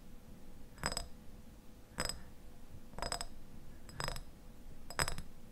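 Fingertips and nails tap and scratch the glass sides of a medium clear glass jar with a white lid, held in both hands and partly filled with pale contents. Five short bursts of quick clinking taps come about a second apart, each with a brief bright ring over a low, soft background hiss.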